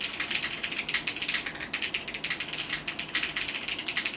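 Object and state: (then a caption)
Mechanical keyboard with plastic keycaps. Fingertips type continuously on a compact mechanical keyboard with multicolored plastic keycaps. Rapid, steady key presses make bright, short clacks with almost no low end. Each click dies away quickly.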